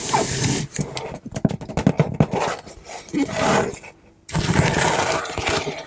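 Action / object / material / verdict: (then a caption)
scrape / corrugated cardboard box / cardboard / none. Long manicured nails and fingertips trace, scratch and lightly tap the flat front of a large, shut brown corrugated cardboard shipping box with clear packing tape across it. Dry, rasping scratches give way to a run of quick, soft taps and shorter scrapes. After a brief near-silent pause, steady scratching resumes.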